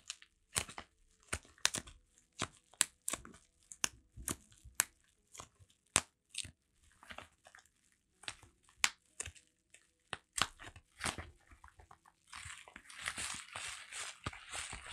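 A bubble-wrapped Seventeen Heng:Garae album is held in both hands while the fingers scratch and crinkle its plastic bubble wrap packaging. About two dozen sharp, bright crackles and scratchy clicks come in quick, uneven bursts. In the last few seconds they blend into a denser, continuous crinkling rustle.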